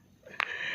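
A tomato that froze solid in the fridge, hard as stone, is knocked once. It gives a single sharp, bright click with almost no ring, followed by a steady high hiss.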